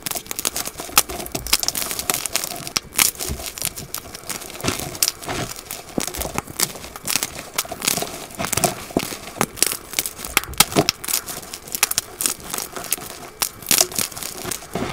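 Fingertips with dark-painted nails squeeze and snap a small solid white block of gym chalk (magnesium carbonate) into pieces, held over a bowl of chalk powder and other blocks. A steady stream of dry, bright crunches, crackles and sharp snaps runs throughout, with little low-end weight and no ringing between breaks.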